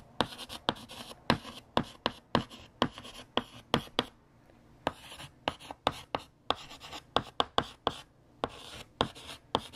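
A hand writes on a large, flat, solid black chalkboard with a yellow chalk stick, making quick scratching strokes. About two dozen sharp, dry taps and scrapes come in an uneven rhythm, with a bright, high edge and a brief lull partway through.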